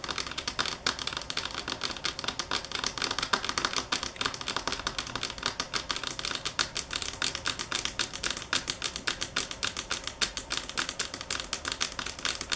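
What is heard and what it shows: Long fingernails tap on a marble table top at varying speed and force, producing a dense stream of short, sharp, bright clicks. Each tap dies away almost instantly, and the sound has very little low end.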